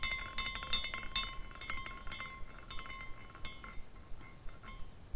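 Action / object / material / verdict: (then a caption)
shake / small glass carousel figurine with hanging glass pieces / glass / none. A small decorative glass carousel figurine, with hanging glass horses on a rainbow glass base, is spun by hand at its top spindle, so the horses swing and clink together. This produces an irregular run of bright, short glassy tinks with ringing tones near 1 and 2 kHz and higher overtones, over a quiet low rumble.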